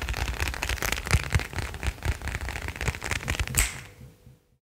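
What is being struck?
Leather wallet.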